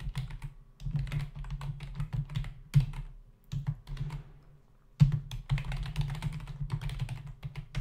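Both hands tap with their fingertips on the plastic keys of a black plastic membrane computer keyboard with a hollow body resting on a desk. The typing comes in rapid bursts of dull, low clacks with bright clicky edges, separated by short pauses. Two heavier thumps stand out as new bursts begin.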